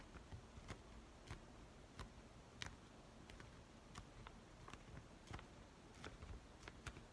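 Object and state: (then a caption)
Kraft paper padded mailer. An empty yellow Amazon kraft paper padded envelope with its flap open is held and rubbed and scratched by fingers. A quiet, steady low rustle is broken by about thirteen sharp, bright ticks and crinkles that die away almost instantly.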